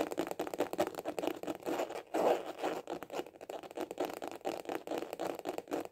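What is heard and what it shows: A small, hollow hard-shell glasses case with a white printed cover is held horizontally and tapped rapidly with the fingertips. It gives a steady stream of quick, dry, hollow clicks centred around 490 Hz, with little deep bass or high brightness. Each tap dies away almost instantly, with a slightly louder burst of taps near the two-second mark.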